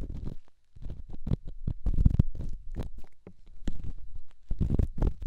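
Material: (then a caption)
Stone. A solid rough rock held in the fingertips is rubbed and scratched against a silicone microphone ear. The result is a close series of muffled, low scraping and thumping bursts, heavy in the deep bass with a dull rumbling texture. Brief crisp scratchy edges appear between the bursts.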